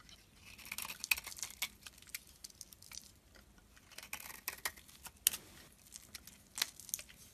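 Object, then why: Solid bar of soap cut with a metal blade. A solid cream bar of soap with pink remnants is carved and shaved with a metal utility blade. Quiet, crisp scraping and crackly flaking sounds repeat throughout, bright and high with almost no low end, punctuated by sharper clicks of the blade.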